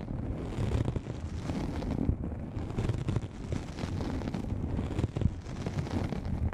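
A soft, hollow black nylon fabric lens pouch, apparently pulled over the microphone, is scratched and lightly tapped with long manicured nails of both hands. The result is a steady, muffled, low rumbling rustle full of quick dull scrapes and soft thumps, with almost no bright content.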